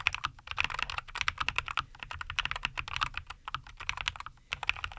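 Both hands type continuously with their fingertips on a NuPhy Air75 V2, a compact 75% mechanical keyboard with Cowberry linear switches, a white case and green and white plastic keycaps, resting on a wooden desk. A rapid, steady stream of short, dry, bright clacks centered around 2.5 kHz is heard, each click dying almost instantly, with a faint low hum underneath.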